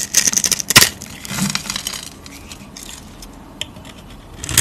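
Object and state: Soap bar being scraped and cut.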